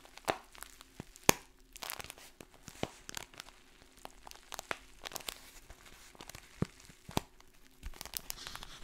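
A printed brown kraft paper pouch with dry contents is crinkled and scratched with long fingernails. Sharp crackling crinkles and dry scratching come in quick, irregular bursts, with a few louder snaps standing out over a quiet background.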